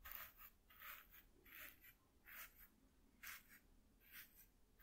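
A fluffy makeup brush is swept back and forth over the surface of a flat, white corrugated cardboard sheet. The result is soft, repeated, airy brushing strokes with a bright, hissy texture, each swell fading quickly into quiet.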